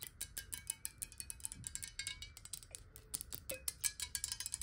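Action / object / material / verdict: tap / glass bottle partly filled with water / glass / none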